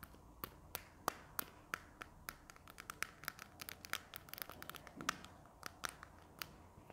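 A slim, hollow white plastic marker pen with a purple cap is held in the hands and tapped and scratched with long nails along its barrel. An irregular run of sharp, bright clicks rises over a soft, faint scratching hiss. Each tap is dry and short, with no ring.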